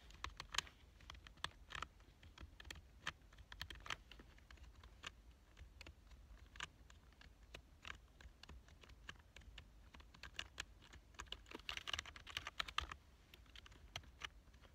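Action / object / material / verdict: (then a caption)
tap / plastic computer keyboard / plastic / none. One hand types with its fingertips on a black plastic full-size computer keyboard. The result is a quick, irregular stream of short, bright key clicks that stop dead with no ring, over a faint steady low hum. A denser flurry of keystrokes comes near the end.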